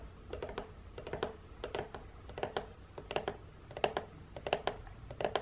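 Long fingernails tap and scratch the end flap and side of a long, hollow printed cardboard biscuit box. Quick clusters of dry, clicky taps with a hollow midrange tone come in bursts over a quiet background, each hit dying away almost at once.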